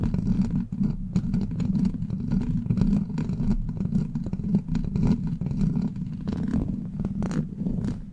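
Long black plastic claw nails on both hands scratch and tap the hollow steel mesh grille of a silver microphone. The result is a dense, continuous rumbling scrape, heavy in the low end around 200 Hz, scattered with quick clicky taps and occasional brighter ticks.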